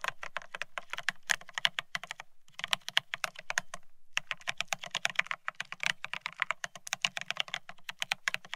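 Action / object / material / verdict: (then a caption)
tap / mechanical keyboard with ceramic keycaps on a steel plate / ceramic / none. Both hands type rapidly with their fingertips on a Bear65 mechanical keyboard fitted with blank white matte ceramic Cerakey keycaps on a steel plate, resting on white cloth. The keys give a dense stream of crisp, bright, short clacks that die away almost instantly, with little low end. The typing breaks off in two brief pauses before resuming.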